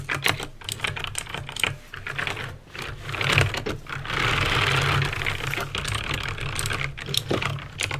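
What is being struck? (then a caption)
Plastic mechanical keyboard. Fingertips with painted nails type on a backlit plastic mechanical keyboard with clicky green switches, producing a rapid, uneven run of sharp, bright clicks with short decays. A steady low hum sits underneath, and around the middle the keystrokes blur into a denser, louder burst of clatter.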